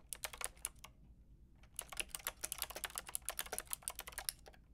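Fingertips with long red nails rapidly tap the round pink and grey plastic keycaps of a Lofree mechanical keyboard with a white plastic case. A short burst of sharp, bright clicks is followed by a brief pause, then a longer, denser run of quick, crisp key taps with almost no ring.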